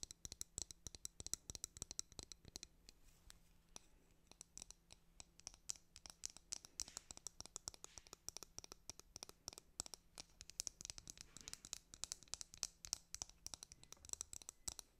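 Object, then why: Plastic hairbrush. Long nails tap and scratch across the printed back of a white plastic hairbrush. The result is a quiet, rapid stream of sharp, bright clicks and dry scratches, mostly high-pitched, with a faint steady low hum underneath for most of the clip.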